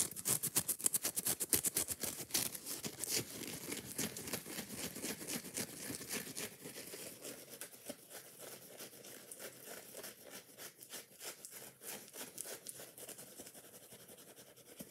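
Fingers and nails scratch fast and hard across the green scouring side of a foam kitchen sponge held at chest level. The result is a dense run of bright, dry scratches and crackles, with little low end. The scratching is loudest in the first few seconds, then settles into a softer, steady rasp.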